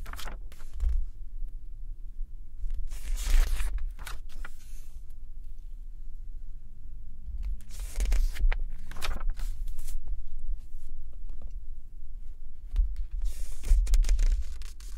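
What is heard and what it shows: A large glossy-paper Elle UK fashion magazine, March 2024 issue, lies open and flat on an orange towel while fingertips at its lower right edge grip and flip the thin pages. The paper rubs, slides and flaps in bright, airy bursts of crinkling swish, with quieter sliding in between over a steady low rumble.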